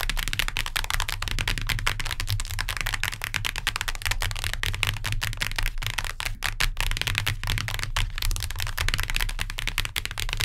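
Long nails tap rapidly on the cardboard cover of a hardcover book, making a dense, continuous stream of sharp, bright clicks. A steady low hum sits underneath throughout.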